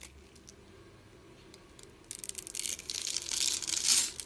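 A utility blade scrapes crunchy cubes from a dry green and white striped soap bar held in the palm and scored into a grid. After about two seconds of near quiet with faint ticks, a dense, bright crackling crunch starts and grows louder toward the end.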